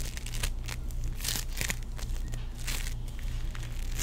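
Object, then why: Ball of sticky foam-bead play foam. A small, solid teal ball of sticky foam-bead play foam is squeezed and stretched between the fingertips of both hands. It gives off bursts of bright crinkling and crackling over a steady low hum. The pops come in quick, uneven clusters.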